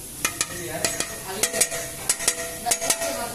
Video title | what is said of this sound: Lỗi Honda Vision 2021 -2020. Tổng hợp các lỗi trên Honda Vision. | gõ vào nó sẽ có tiếng kêu, nó sẽ cảm giác như bị lỏng ở trong này